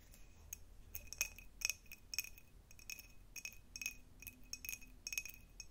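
A tall, clear, hollow and empty cut glass jar with a diamond pattern is held in both hands and tapped with long nails. The result is a quick, irregular run of short, bright clinks with a steady ring near 2.5 kHz and higher sparkle above it. Each tap dies away almost at once over a soft low background hum.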